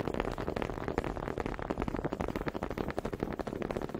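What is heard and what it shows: One small, solid wooden honey dipper is tapped and clacked against another close to the mic, held by fingers with long pink nails. A quick, uneven run of dry, hollow wooden clicks follows, each dying away almost at once. The clicks have a woody tone around 465 Hz and little high-end brightness.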